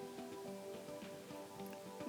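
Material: Nothing is struck.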